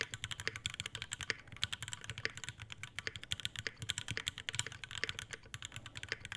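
An Iron180 tenkeyless mechanical keyboard with a brass bottom, brass plate, Alpaca V2 switches and white ABS keycaps in a dark metal case sits on a desk mat while both hands type fast with the fingertips. About fifty quick, bright clacks come in a dense stream, with a sharp click near 3.2 kHz, a little low thock underneath, and almost no ring after each stroke.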